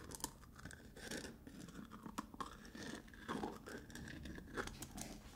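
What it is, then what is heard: Plastic cosmetic tub lid. Fingernails scratch and tap the top and rim of a hollow black plastic lid on a medium-size black plastic Lush cosmetic tub while hands twist the lid. Soft, dry scratching and scraping runs throughout, broken by light, quick taps with a hollow low-mid body and almost no ring. The sound stays quiet and close, with brief brighter clicks.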